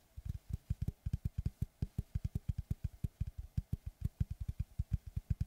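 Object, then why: Round slice of solid wood with bark edge. Fingertips and short nails tap and scratch a large, round, solid wood tree slice board with a bark edge, held upright behind the mic. Thirty-two quick, low, dull thumps land in a fast, uneven rhythm, each dying away almost at once, with faint bright ticks on top.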